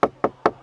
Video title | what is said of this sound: 트레일블레이저 셀토스 저리가라!? 스토닉 시승기!! Hot한 스토닉 팩트리뷰! | 쳐보면은 플라스틱이라는 걸 알 수 있고요.